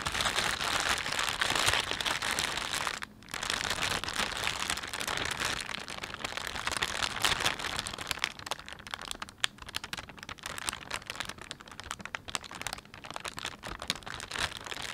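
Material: Plastic film.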